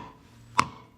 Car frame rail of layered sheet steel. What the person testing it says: a load-bearing part of the underbody, consisting of multiple layers of sheet metal. You can hear it by knocking on it